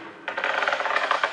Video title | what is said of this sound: Metro, une ville sur les rails - France 5 (2016) | dès lors qu'on entend à l'oreille un son creux, on sait à ce moment-là que Le carreau, il n'adhère pas correctement